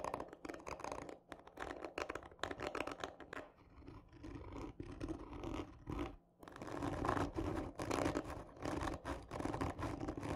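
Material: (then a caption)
Cardboard. Long fingernails on both hands scratch hard and slowly across the top of a hollow, textured cardboard tube lying on its side. The result is a dense, rough, raspy scratching with a hollow, boomy body, easing slightly before a brief pause near the six-second mark and then returning louder.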